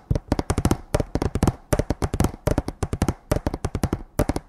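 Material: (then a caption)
Wood. A hanging sign made of a row of thin painted wooden slats tied together is held in both hands and tapped with the fingertips and nails. About 27 quick, dry, hollow knocks come in rapid clustered runs, each dying away almost at once. The taps are mostly low and woody, with little bright edge.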